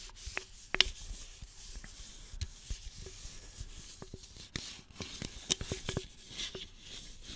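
Fingertips and nails rub and scratch along the top and sides of a single hollow red aluminum soda can. The result is a bright, dry scraping hiss broken by sharp little clicks and ticks that stop at once with no ring.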